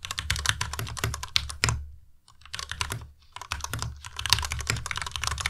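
Fingertips type rapidly on a white compact Ducky Miya Pro mechanical keyboard with plastic keycaps, ending with single key presses. The keys make dense, bright clacky clicks over a low thock, broken by two brief pauses before the typing resumes.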